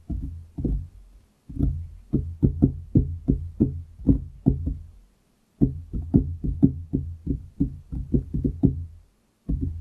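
Fingertips of both hands tap a large, solid wooden desktop beside the microphone. Quick, dull, low knocks with almost no ring come in rhythmic runs separated by brief silences.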